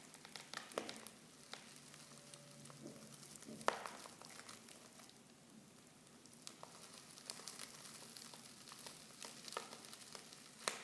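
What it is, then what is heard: Foil tea pouch crinkled. Fingers with long nails crinkle a silver foil Pickwick tea pouch that is open at the top and half full of loose tea leaves. Quiet, sparse crackling comes with bright, sharp ticks and a few louder snaps, heard near the middle and again at the end.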